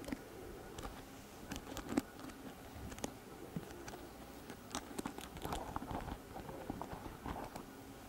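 Long nails strum and scratch across the stiff plastic bristles of a pink plastic paddle hairbrush held close to the mic. The result is a quiet, uneven patter of short crackly plucks and scratchy rasps, some sharp ticks reaching up bright, over a soft low hiss.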